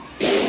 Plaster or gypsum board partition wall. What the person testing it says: bang on the wall you'll get a hollow sound